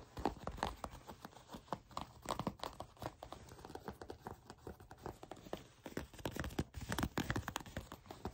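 Long pink-polished nails tap and scratch the soft, flexible surface of brown shiny leather (possibly faux) pants fabric held in one hand. The result is a quiet, steady run of rapid, dry clicks and scratchy rustles with almost no ring, weighted toward the low and middle range with little brightness.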